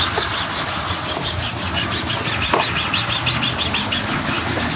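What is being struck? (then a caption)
Leather boot rubbed with a cloth. A cloth is rubbed quickly back and forth across the toe and upper of a black leather Dr. Martens lace-up boot with a thick sole, worn on a foot resting on a shoeshine stand, buffing it. The result is a steady, rhythmic swish-swish of brisk strokes, about three per second, with a bright, airy hiss on each pass.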